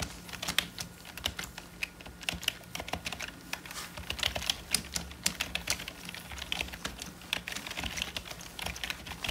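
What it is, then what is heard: Plastic membrane computer keyboard. Gloved fingertips type slowly on a hollow, full-size black plastic membrane computer keyboard, pressing single keys one after another. Each press gives a short, dry, bright plastic click with almost no ring, over a faint steady low hum.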